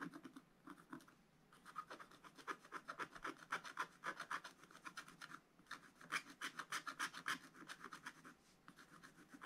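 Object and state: Scratch-art paper being scratched.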